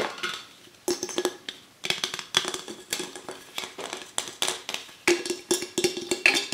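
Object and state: Aluminum drink can.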